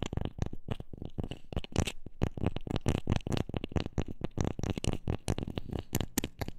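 A wooden object is tapped quickly and irregularly with a steady stream of short, dull knocks. The taps are mostly low and thumpy, with brief brighter clicks and almost no ring after each one.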